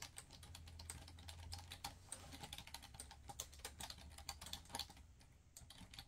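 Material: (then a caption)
Plastic. Fast fingertip typing on a black plastic laptop keyboard produces a dense run of short, bright key taps that die away almost instantly. A steady low hum sits underneath the clicks throughout.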